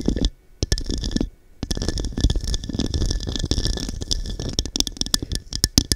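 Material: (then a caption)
Glass. Long dark nails tap and scratch the textured surface of a small, hollow, empty diamond-cut glass cup turned upside down over a microphone. The result is a dense run of quick bright clicks and gritty scraping over a heavy, muffled low thump, with two brief quiet gaps early on.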